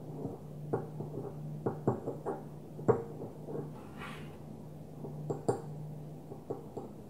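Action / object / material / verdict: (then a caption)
tap / small glass perfume bottle / glass / none. A small opaque white glass perfume bottle is held and tapped on its surface with long nails, giving about ten quiet, sharp taps with a slight ring around 470 Hz that dies away almost at once. A steady low hum runs underneath, and a brief soft, bright hiss rises midway through.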